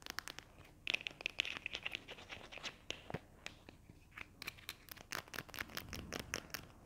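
A small, hollow white and magenta plastic glue stick tube, held in the hands, is tapped and scratched along its body and cap with long nails. A quiet, rapid series of short, bright clicks and dry scratches follows, with almost no ring after each tap.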